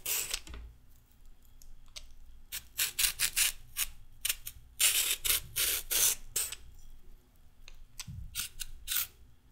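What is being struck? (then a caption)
Raw carrot under a metal peeler. A red-handled metal peeler scrapes along a solid raw carrot, taking off thin strips. Quick, bright, rasping strokes come in irregular bursts over a faint, steady low hum.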